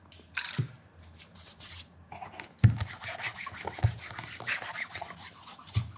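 Fingers wrapped in a white cloth rub and mirror-polish the leather vamp of a black leather loafer with a shoe tree, held in hand. Soft, bright swishing strokes come in irregular bursts over a quiet background, with a few dull low knocks and handling bumps.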